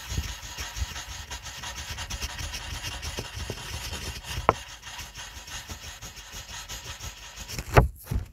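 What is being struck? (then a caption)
Wooden colored pencil on a paper sheet. A green wooden colored pencil rubs and scratches in small strokes inside a letter on a white paper coloring sheet, with the other hand resting on the paper. A steady, soft, papery scratching runs throughout over a low rumble, broken by a sharper tap midway and a couple of louder knocks near the end.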